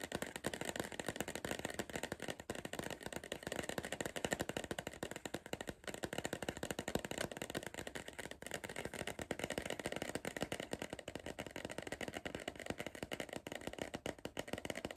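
Fingertips and nails rapidly tap the side wall of a tall, hollow Pringles cardboard crisp tube held in the hand. The result is a dense, continuous stream of short, dry clicks with a hollow papery tone that peaks around 1.8 kHz, and each tap dies away almost instantly.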